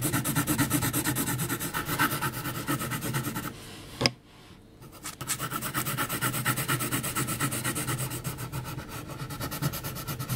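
A yellow HB graphite pencil scratches rapid hatching lines across a flat sheet of heavy mixed-media paper as the hand moves over the drawing. The steady, raspy strokes pause briefly around the four-second mark with a single sharp tick, then resume in a quick back-and-forth rhythm to the end.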